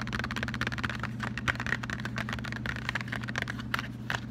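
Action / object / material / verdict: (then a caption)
tap / flat cardboard box / cardboard / none. A closed, flat cardboard Lindt chocolate box is turned over to show its back label and tapped rapidly with fingertips and short nails. The taps make a quick, dry, typing-like clatter of short clicks, centred in the midrange with some bright edges, over a steady low hum.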